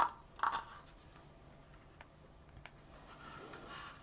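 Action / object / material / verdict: tap / wooden slat frame / wood / none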